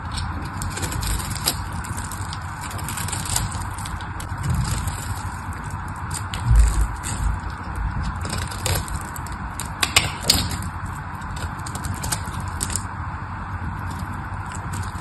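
A small craft knife shaves a solid, dry, patterned pink bar of soap in a steady run of crunchy cuts. The scraping is continuous and low-heavy with a bright hiss on top, and a few louder crunches stand out around the middle of the clip.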